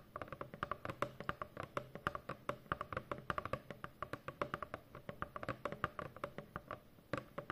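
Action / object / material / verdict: tap / corrugated cardboard box / cardboard / none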